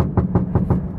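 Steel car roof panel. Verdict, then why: Poorly damped. Knuckles knock four times on the steel roof of a 2021 Honda Brio Satya E CVT, giving low, hollow metallic thuds with a brief ring. The roof sounds thin and tinny, showing it has little sound damping, and that bare-metal sound makes it easy to check the body has never been patched with filler.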